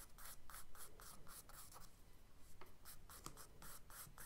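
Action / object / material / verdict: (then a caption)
scrape / charcoal stick on kraft paper sketchbook page / paper / none. A charcoal stick scratches short, curly strokes onto a page of a kraft paper spiral sketchbook resting on a desk. It makes fourteen quiet, dry, bright rasping strokes in a steady rhythm, with a brief lull in the middle, over a faint low hum.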